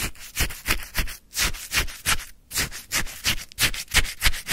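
A white paper cup full of icy, frozen lemon sherbet is stabbed and stirred with a wooden stick. Quick, irregular scraping crunches come about three per second, each a short burst of bright, gritty icy noise over a low thud, with brief pauses between strokes.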